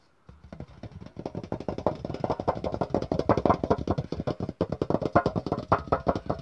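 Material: Metal.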